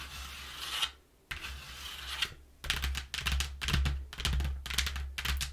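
Long nails scratch the inner panel of a flattened brown corrugated cardboard box, thin and hollow, in two bright, drawn-out rasps. Then they tap quickly across it in a run of short, papery taps and scratches over a dull, hollow low thud.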